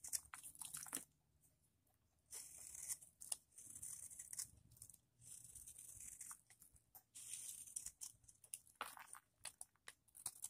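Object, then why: Bar of soap scraped with a metal blade. A metal blade scrapes and shaves a palm-sized block of pale green, dry vintage soap held in one hand, dropping flakes onto a marble surface already scattered with soap shavings. Bright, dry crunching and crinkling scrapes come in short bursts separated by near-silent pauses, with quick sharp clicks where the blade bites and breaks off flakes.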